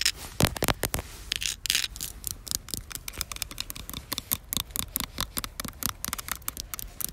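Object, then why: Concrete surface. Long black fingernails rub and scratch an outdoor, grainy, solid concrete surface. The result is a rapid run of short, dry, bright scraping strokes that cut off almost at once, over a faint low rumble.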